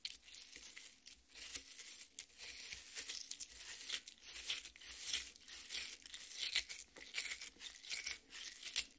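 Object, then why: Half watermelon, cut flesh. Long red nails scratch the wet red flesh of a half watermelon resting on a plate. The result is a steady run of quiet, bright, wet scraping and crackling strokes at an uneven rhythm.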